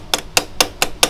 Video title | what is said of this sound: Cerita kerja ( 125z,RR hitam dengan blok ss ) | kalau bunyi dia pelik, dia macam bunyi dia dah mampat, maknanya dia dah masuk